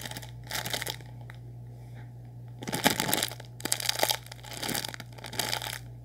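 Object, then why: Plastic instant noodle packet with dry noodles. A sealed orange Nissin Lámen plastic packet, full of dry noodles, is crinkled and squeezed with fingers. Bursts of bright, crackly plastic crinkling come and go over a steady low hum, with the loudest crunches near the middle and the end.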